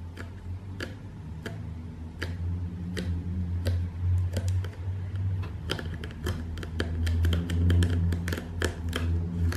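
Long painted fingernails tap the side panel of a closed, hollow, medium corrugated cardboard shipping box, making sharp ticking taps. The taps start slow and evenly spaced, then come faster and more clustered over a steady low hum.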